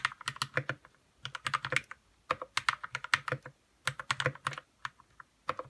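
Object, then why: Mechanical keyboard with plastic keycaps. Fingertips type on a white 60% RK61 mechanical keyboard with plastic keycaps and lubed red switches. About 28 short, crisp keystrokes sound in quick bursts separated by brief pauses. Each clack is bright and centered near 1.8 kHz, dying away almost instantly.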